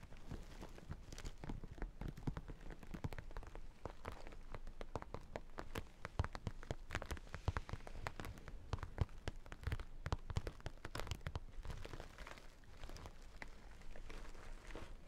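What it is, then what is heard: Sequin and holographic vinyl makeup bag. A small, hollow zippered makeup bag with a sequin panel and holographic vinyl is tapped and scratched with fingertips and nails close to the mic. The result is a dense, steady stream of quick, dry taps and crackly scratches with a soft, low thump, continuing for the whole clip.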